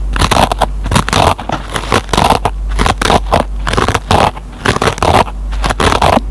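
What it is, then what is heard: Dry kitchen sponge with nylon scouring pad, scratched. A metal pen tip picks and scratches at the fibers of a dry kitchen sponge's green nylon scouring pad. Rapid crackly, crunchy scratching comes in quick bursts separated by brief pauses, over a steady low hum.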